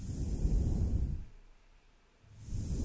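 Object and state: Nothing is struck.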